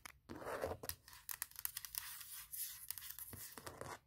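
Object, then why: Aluminum laptop lid. Long painted nails tap and scratch across the top of a closed, large MacBook Pro with a hollow aluminum shell lying on a leather surface. Quiet, bright scraping rasps mix with quick, crisp taps that die away almost instantly, with little low end.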